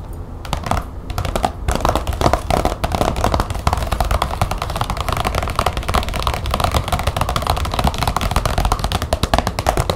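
Long nails tap rapidly on a large glossy green plastic folder lying flat on a table. The sound is a steady stream of quick, dry clicks, each with a low, hollow thump. The taps stop almost instantly, with little brightness and no ringing.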